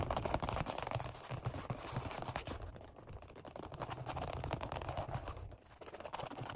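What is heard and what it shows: Fingertips rapidly tap and scratch the black padded vinyl-over-foam seat of a Flybird workout bench. The result is a quick, uneven flurry of soft, dull taps with low thuds, mixed with dry scratchy rustling that barely rings out.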